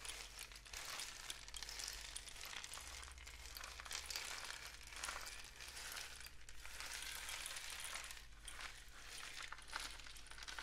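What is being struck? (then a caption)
Cardboard rainstick tube with loose filling. A long, hollow, painted cardboard rainstick tube is tilted diagonally with the fingertips, sending its filling cascading down inside. The result is a soft, continuous, bright patter that swells and fades in repeated waves over a faint, steady low hum.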